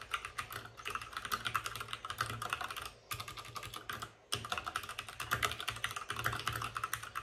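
Fingertips of both hands type fast on a white RGB-backlit mechanical keyboard with plastic keycaps and a hollow plastic case. The result is a dense run of short, bright, clacky keystrokes centered around 1.3 kHz over a faint low hum. The typing stops briefly near the 3-second mark and again just past 4 seconds.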